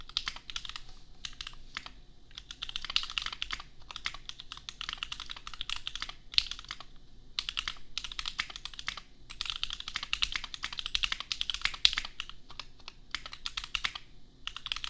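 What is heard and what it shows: Bare fingertips of both hands type on a $250 custom 60% mechanical keyboard with Gateron Milky Yellow switches and red and white plastic keycaps, resting on an anime desk mat. Bursts of rapid, bright, clacky keystrokes with very short decay are broken by brief pauses, over a faint low hum.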